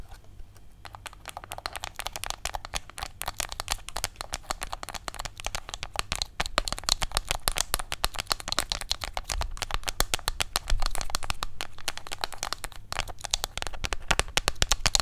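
A small, hollow, red printed rectangular cardboard product box is held in both hands close to the microphone and rapidly tapped and scratched with fingertips and nails. A dense, continuous stream of crisp, dry taps and scratchy crackles, bright on top with a soft low thump, grows louder around 6 seconds and again near 11 seconds.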